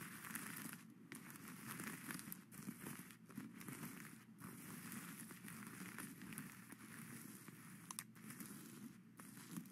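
Plastic skeleton-hand grabbers scratch and flip the sequins back and forth on a sequin-covered witch hat crown lying flat on a satin brim. The result is a steady, quiet stream of dry, crackly rustling and bright scratching with brief clicks, and no pauses.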